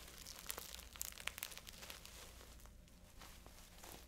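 Fingertips and long nails scratch and rub across the dense bead clusters of a small, hollow, flat, multicolored beaded fabric handbag held in both hands. The sound is a bright, crisp run of clicking, crinkly scratches and brief ticks with uneven timing over a faint low hum.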